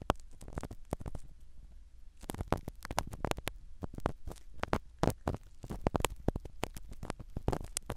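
A black spiral ear pick scratches the small black foam cover of a microphone set in a silicone dummy ear. The result is a dense run of close, muffled scratching and crackling strokes with a deep low rumble underneath. There are quick brushing bursts that flare bright for an instant, with a brief quieter stretch near two seconds.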